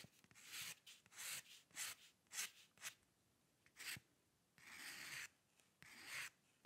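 A metal dip pen nib scratches fine lines, drawing hair, on a white paper sheet resting on a dark table. About eight quiet, bright, hissing strokes come at an irregular pace, some short and a couple drawn out longer. There is almost no low end between them.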